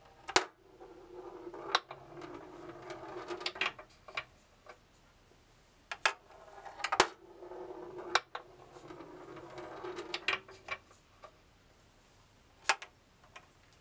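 Hands tilt a bamboo labyrinth maze with a hollow box frame, sending a small steel ball rolling through it. Soft, hollow rolling rumbles swell and fade, broken by sharp, bright clicks and knocks as the ball strikes the wooden walls.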